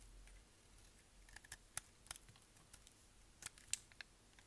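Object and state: Dry soap bar scraped.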